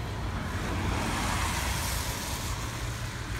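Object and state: Nothing is struck.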